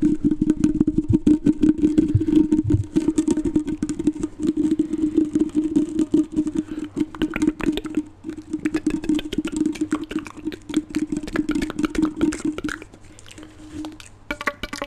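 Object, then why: Ribbed plastic hose. Fingertips run along and tap the ribs of a flexible, hollow black ribbed plastic hose, about arm length, bent into a U and handled close to the mic. The result is a dense, rapid, uneven stream of dry clicks and ridged rattling over a steady hollow tone around 310 Hz. It grows sparser and quieter after about 13 seconds.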